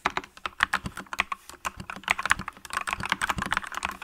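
Both hands with long nails type on a green-cased mechanical keyboard with yellow and green plastic keycaps. A steady, quick stream of short, bright plastic clacks centres around 1.1 kHz, with each press dying away at once. Light thocks sit underneath.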